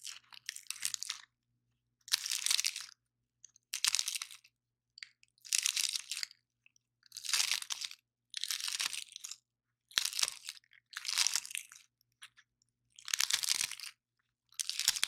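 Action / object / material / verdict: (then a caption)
scrape / pine cone scales / wood / none. A single large, dry, grey-brown pine cone with solid woody scales is held in both hands while fingertips and nails bend and break its scales, dropping debris onto the table. Repeated short bursts of dry, bright crunching and crackling are heard, separated by brief silences, with no low rumble.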